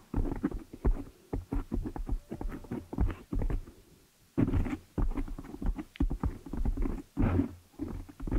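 Long nails scratch and fingers rub the black foam windscreen on a desktop microphone, making dense, muffled low-pitched scraping and thumping in quick bursts. The sound is deep and boomy, with little high end, and pauses briefly near the middle before starting again.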